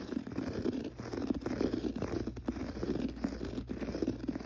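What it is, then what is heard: Textured pile carpet. Fingertips scratch the pile of a gray textured carpet on the floor, making a steady, dense scratchy rustle. The sound is soft and muffled, centered in the low-mids with almost no bright content, and rises and falls in quick, uneven bursts that stop dry with no ring.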